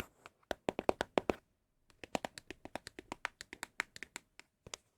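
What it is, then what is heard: Empty cardboard box. Empty Apple product cardboard boxes are tapped with quick, dry, hollow knocks that stop almost instantly. A first burst of taps is followed by a short pause, then a longer, uneven run of taps. The boxes give an especially pleasing hollow sound.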